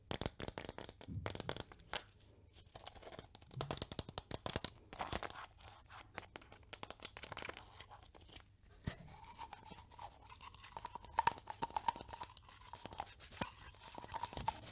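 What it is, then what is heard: Plastic vitamin tablet tube. Long nails tap and scratch a small white plastic effervescent vitamin tube with a cap, likely holding tablets. Quick, dry clicks and bright, scratchy rasps come in dense, uneven bursts with no ring. A faint steady tone near 900 Hz sits underneath in the second half.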